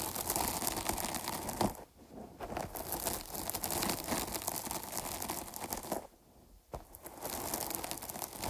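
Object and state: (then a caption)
Foam microphone windscreen being scratched. Long nails scratch and squeeze the sides of a dark foam microphone windscreen, producing dense, close crinkly and crunchy scratching with bright, hissy texture. The rustling runs steadily, broken by two brief near-silent pauses, then resumes just as busily.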